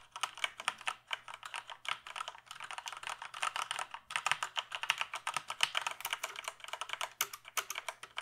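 Fingertips type rapidly on the keys of a full-size plastic computer keyboard held tilted, producing a dense stream of short, bright plastic clicks and clacks with almost no low end. The typing runs in quick bursts with brief pauses near the one- and four-second marks, over a faint steady low hum.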